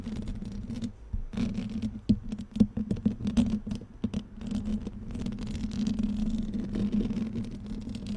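Fingernails on both hands scratch and tap a black metal mesh microphone grille, making a dense, rough scraping patter broken by sharp, quick taps. A steady low hum near 200 Hz runs underneath. Clusters of louder taps come around two to three-and-a-half seconds before the scratching settles into a more even rustle.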